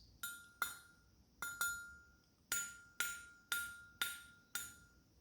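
Nickel-plated solid brass cover plates from an older Hohner 280C chromatic harmonica are tapped nine times to show their resonance, for comparison with the thin stainless Easttop EAP covers. Each tap gives a bright metallic ting with a clear ring near 1.4 kHz that fades quickly.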